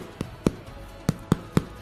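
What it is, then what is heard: Baked-through bread loaf, hollow. A homemade bread loaf, baked for 35 minutes at 200 °C and just taken out of its tin, is tapped five times. Each tap is a short, dull, low thud with a hollow tone. The hollow sound shows the loaf is cooked through, fluffy inside with a crisp top.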